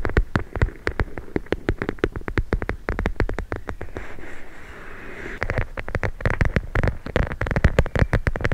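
A hand-sized, soft, filled clear plastic pouch full of teal gel beads is held and tapped and squeezed with long nails. Rapid, short, dull taps with a low thump follow one another closely, easing around the middle into a softer, continuous squishy rustle before the quick tapping picks up again.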